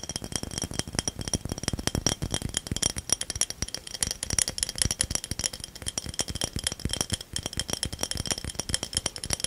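A small ridged cobalt-blue bottle, apparently glass, is held in both hands close to the microphone and rapidly tapped and scratched with fingertips and nails, possibly also shaken. The result is a dense stream of quick, dry clicks and scrapes with bright, high-pitched glassy ticks and almost no ring, over a light low thump from the handling.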